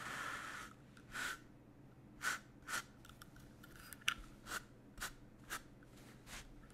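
Fingertips smooth and rub a large flat piece of black woven cotton fabric with a white grid pattern spread on a yellow table, then a small bristle brush with a green back is drawn across the cloth. A soft, airy swish opens the clip, followed by a series of short, bright brushing strokes separated by quiet pauses.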